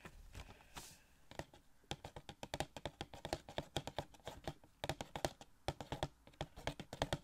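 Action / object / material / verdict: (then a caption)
tap / small cardboard box with plastic window / cardboard / none. Fingertips tap on a small, hollow cardboard Gold Shuri Funko Pop box with a plastic window. A brief soft, bright rustle opens the clip, then a quick, irregular run of dry, hollow taps follows, each short and snappy with a midrange knock and no ring.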